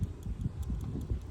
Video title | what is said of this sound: Another Typical day as a PRESSURE WASHER - Wash Vlog #8 | It's faint, but you can hear it.